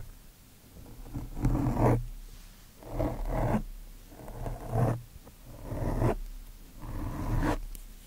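Both hands rub and scratch a large, soft, porous black foam windscreen on a microphone with the cotton tips of two Q-tips. The result is five swelling bursts of close, low, muffled scratchy rustling, with a deep rumbling body and quiet gaps between them.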